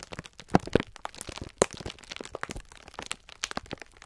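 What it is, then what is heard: Plastic-wrapped sponge scourer pack being crinkled. A clear plastic-film pack of sponge scourers is held in both hands while the fingertips squeeze and rub it. The plastic gives dense, irregular crinkling and crackling, with a few louder, sharper cracks early on among the many short, dry snaps.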